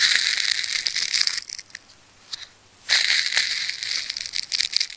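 A fine craft knife tip cuts and scratches into a red, solid, layered ball of wound plastic tape held in the hands, peeling the layers away. Dense, bright crackling and crinkling fill the first second and a half, then fall to near silence with a few faint ticks before resuming just as busily until the end.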